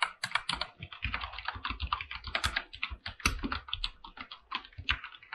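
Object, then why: Mechanical keyboard with plastic keycaps and metal case. Fingertips type steadily on a full-size mechanical keyboard with PBT plastic keycaps and a silver aluminum body. Quick, bright keystroke clacks come in a dense, uneven run, each with a soft low thock underneath and almost no ring after.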